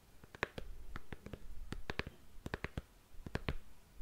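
Long nails tap and scratch along the heel and counter of a single black glossy patent leather stiletto high heel held up in the air. A quick, irregular series of short, sharp clicks rises over soft scratching and a quiet low rumble. Each tap dies away almost at once.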